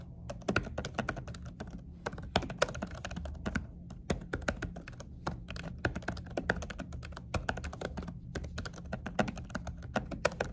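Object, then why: Laptop keyboard with silicone cover. Fingertips with short nails type steadily on a laptop keyboard fitted with a silicone cover, pressing and tapping the keys. The result is a rapid stream of soft, muffled clicks and dull taps with very short decay, over a faint, steady low hum, with no voices.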